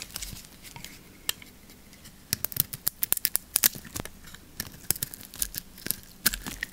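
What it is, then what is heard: Lacquered soap bar being shaved. A metal blade shaves curls off a solid, hand-held soap bar with a blue lacquered coating over yellow soap. It makes a rapid series of crisp, bright scraping and snapping clicks, sparse at first and then densely clustered. Each click ends almost instantly with no ring.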